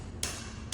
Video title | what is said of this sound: Vistoria de recebimento de imóvel novo na prática! | Ele tá bem oco aqui, ó, diferença de som